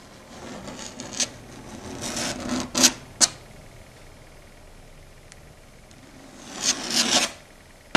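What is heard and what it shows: Long red stiletto nails scratch and rasp across a flat, solid dark grey chalkboard. Bright, gritty scraping swells in two long bursts, one from about 0.5 to 3 seconds and one from 6.3 to 7.3 seconds, with short sharp clicks near 1.2, 2.8, 3.2 and 8 seconds. Quiet stretches in between carry only faint hiss.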